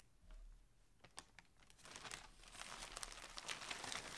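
Hands grip, crumple and open a large grey polyethylene shipping mailer holding clothing on a table. A few scattered crinkles and sharp snaps give way, after about two seconds, to dense, bright, continuous plastic crinkling that grows louder toward the end.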